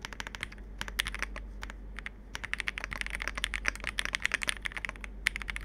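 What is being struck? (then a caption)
Plastic mechanical keyboard. Fingertips type in a quick, uneven run on the plastic keycaps of a compact 65% Capsule 65 mechanical keyboard, ending with one hand pressing the spacebar. Each keystroke is a short, bright clack with almost no ring, over a faint steady low hum.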